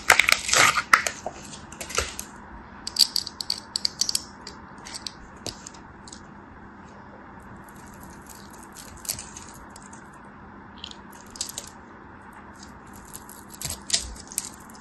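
A metal blade cuts small cubes off the scored grid surface of a solid green soap bar held in a hand with long nails. Crisp, bright crunching snaps and dry clicks come quickly at first, then thin out into scattered short cuts over a faint steady low hum.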